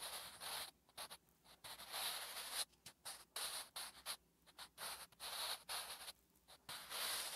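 A wooden graphite pencil writes Korean letters on a flat, solid lined paper notebook page. Bright, dry scratching strokes come in short bursts separated by brief silences, with no low end.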